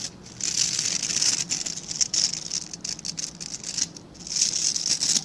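Fingertips scratch and flick the dense, dark synthetic bristles of a hand-sized plastic-backed scrub brush. The result is a bright, crackly, hissing patter of quick scratches, almost entirely high in pitch with no low end. It comes in bursts, with brief quieter pauses near the start and again toward the end.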